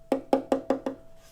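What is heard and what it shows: Five quick taps on a wooden front or back plate of a violin-type string instrument, each a hollow, woody knock with a mid-pitched tone. The taps decay quickly.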